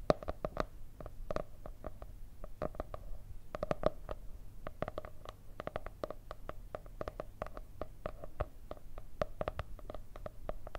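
Long red nails rapidly tap and scratch the cardboard cover of a solid white marble-effect hardcover paper notebook. The result is a steady stream of quick, dry, hollow taps with a muted midrange tone around 600 Hz, softer scratching between them, and a low hum underneath.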